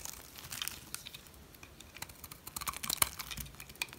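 A metal blade shaves the edge of a solid, dry yellow soap bar, with the shavings piled up behind it. The sound is a quiet, steady run of crisp, bright scraping and crackling, made of many short clicks that grow denser and sharper toward the end.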